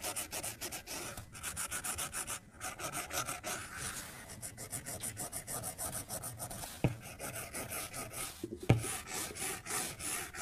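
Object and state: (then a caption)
Stylus on glass tablet screen. A white plastic stylus makes quick, soft rubbing and scratchy strokes across an iPad's glass touchscreen resting on a desk as color is filled in. A steady, bright, rasping texture runs throughout, broken by two sharper taps on the glass near the end.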